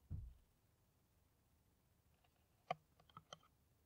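Long nails tap an empty, hollow clear plastic PET water bottle with a white cap. A soft low thump opens the clip, followed by a quiet pause, then a few sharp, bright plastic clicks with a hollow midrange ring near 720 Hz that cut off almost instantly.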